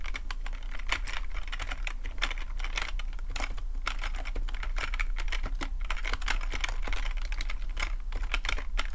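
Fingertips tap steadily on the keys of a full-size black plastic computer keyboard with a hollow plastic body, giving a rapid, continuous run of short, bright clicks that die away almost instantly. A constant low hum sits underneath the typing throughout.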